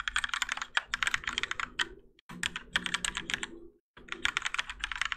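A Keychron K4 compact mechanical keyboard with Gateron Yellow switches and grey and orange ABS plastic keycaps, on a plastic and metal case resting on a desk mat, is typed on continuously with the fingertips of both hands. Quick, bright clacks patter in dense bursts, broken by two brief pauses, each keystroke dying away almost instantly with little low thump beneath.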